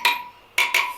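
Steel spokes on the wire wheel of a Royal Enfield Interceptor 650 Twin are tapped with a tool to check their tension. Three clear, ringing metallic taps with a bright tone near 1 kHz, not the flat, dull thud of a loose spoke. The spokes are all tight and okay.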